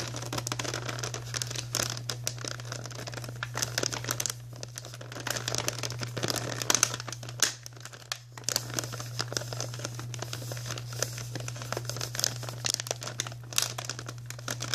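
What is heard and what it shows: Long natural nails scratch and squeeze a soft, flexible white printed plastic Archway cookie bag held in both hands, making steady, bright crinkling and crackling. A constant low hum runs beneath the dense rustle throughout.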